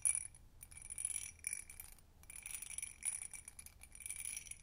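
An empty hobnail-textured glass tumbler is held in the hands while long nails tap fast on its sides. The result is quick, quiet, bright clinking with very short ring, in dense bursts that run together.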